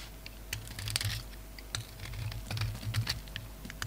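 A solid oval soap bar, translucent red outside and dark grey inside, is held in the hand and scraped and shaved with a utility knife blade. A rapid series of short, crisp, bright scraping clicks plays over a steady low hum. The blade leaves crumbly shavings.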